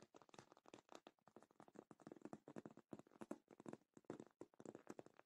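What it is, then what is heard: Faux leather cosmetic case. Long nails tap and scratch the top and front side of a black faux leather padded cosmetic case, and fingertips rub it. The result is a quiet, dry run of dozens of quick, soft taps and scratchy brushes with a muted, padded body and faint bright hiss. Each sound dies almost instantly.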